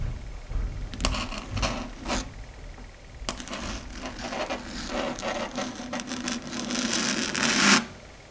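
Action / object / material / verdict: tap / chalkboard surface tapped and scratched with long fingernails / slate board / none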